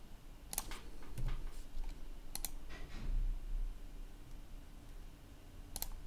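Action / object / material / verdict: tap / plastic laptop keyboard / plastic / none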